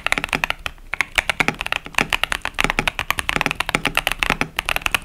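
Fingertips steadily press the keys of a 65% plastic KBD67 Lite mechanical keyboard with pastel plastic keycaps and tactile Boba U4T switches. The result is a quick, even stream of sharp, bright clacks and taps. Each keystroke dies away almost instantly, with little low end.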